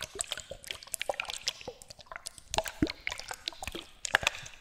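Small bottles with liquid inside are shaken close to a Blue Yeti microphone as an ASMR trigger. Quick, bright sloshes and drips overlap with sharp little clicks, with almost no low end. The sound shows the bottles hold liquid.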